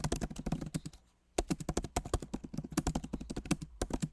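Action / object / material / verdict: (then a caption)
tap / laptop keyboard with plastic keycaps / plastic / none. Both hands type rapidly with the fingertips on a backlit MacBook Pro Magic Keyboard, which has plastic keycaps set in an aluminum body. The result is a steady stream of short, soft, low-pitched clicks and thuds, with a brief pause near the one-second mark before the typing resumes.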